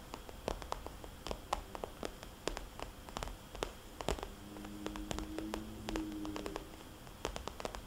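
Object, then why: Soft vinyl cosmetics bag. Long dark nails tap and scratch the glossy surface of a small, rounded red polka-dot vinyl cosmetics bag, which sounds soft and hollow. Dozens of quick, dry clicks are heard, with faint scratching between them and low hum-like tones in the middle of the clip.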